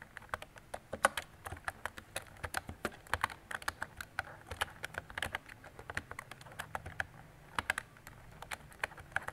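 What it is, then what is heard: Plastic mechanical keyboard. Fingertips with long decorated nails type on a mint-green retro mechanical keyboard with round plastic keycaps and a hollow body. It makes a steady run of short, crisp plastic clicks and clacks with a bright tap edge and almost no ring. The uneven rhythm sits over a quiet background.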